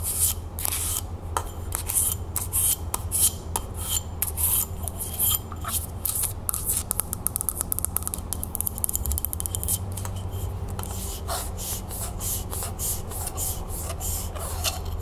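Long nails tap and scratch a hollow frosted glass candle holder held in the hands, producing dense, fast clicks and bright scraping strokes. A steady low hum sits underneath, and the taps stay dry with almost no ring.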